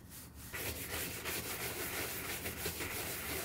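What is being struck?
Leather sneaker brushed with a horsehair brush.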